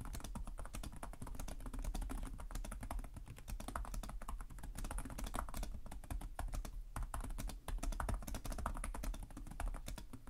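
Fingertips with short nails type continuously on the plastic chiclet keyboard of a black laptop resting on a desk. The result is a dense, steady stream of rapid, crisp key taps with a soft low thud under each press and only a brief lull near the end.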